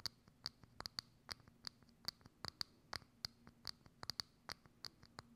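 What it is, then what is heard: Thin plastic dome lid scratched with nails. Long acrylic nails scratch and tap a hollow, thin, clear plastic dome lid with a knob set over a microphone. About twenty quick, sharp clicks and scrapes come through with a bright, high plastic ring under a faint low hum. The sound is quiet, crisp and dry, with almost no decay after each stroke.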